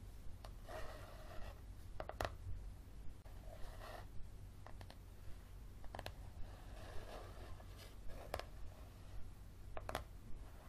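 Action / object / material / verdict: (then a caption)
tap / softcover paperback book, paper / paper / none. Fingernails tap and scratch along the spine and cover of a yellow softcover paperback book. Short, dry clicks are broken up by soft, papery rubbing passages over a steady low hum, all at a quiet level.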